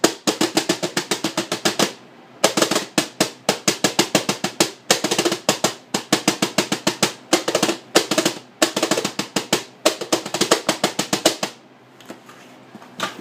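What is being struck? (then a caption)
Plastic bucket with lid. A large white plastic bucket with a green plastic lid, held between the knees and possibly modified into a snare drum, is drummed with the fingertips and palms of both hands on the lid. About 65 quick, dry taps come in rapid rolling bursts separated by short pauses, each with a snappy, bright rattle, little low end and almost no ring. The rhythm stops near the end, leaving quiet hiss.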